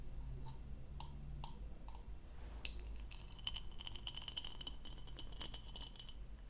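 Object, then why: Textured plastic goblet. Long painted nails tap a few times on the diamond-textured bowl of an empty, hollow blue plastic goblet with a textured stem, held in hand and turned, producing light, separate clicks. The tapping then gives way to quick, dense scratching and rattling across the textured bowl, with a bright, ringing plastic tone around 3 kHz over a low, steady background hum.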